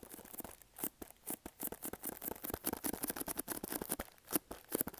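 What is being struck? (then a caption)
Small printed cardboard box. A small, hollow pink printed cardboard product box is scratched with fingernails and tapped with fingertips. The result is a quick, dense run of short, dry scratches and taps with bright, papery crackle and almost no ring, each sound cutting off at once.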